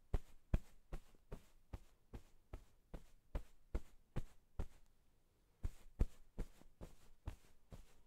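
White-satin-gloved fingertips rub and tuck at the sides and top of a floral cotton-cased pillow. The result is about 19 soft, dull, low fabric thumps in a steady quick rhythm, with a short pause near the five-second mark before the thumps resume.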